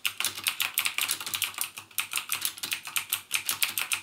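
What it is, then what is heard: Plastic mechanical keyboard. Fingertips type rapidly on a backlit mechanical keyboard with plastic keycaps and Cherry MX Blue switches. A fast, steady stream of sharp, bright clicks, each decaying almost instantly, with a clicky tone around 2.5 kHz and almost no low end.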